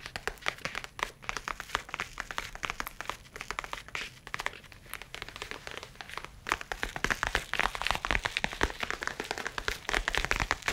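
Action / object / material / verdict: tap / leather tablet case / leather / none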